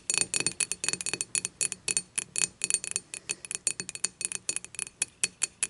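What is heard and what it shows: Long matte nails tap and scratch the thick glass handle of an empty glass beer mug lying on its side. Bright, clinking ticks come in a quick, uneven run with almost no low end, each one dying away almost at once.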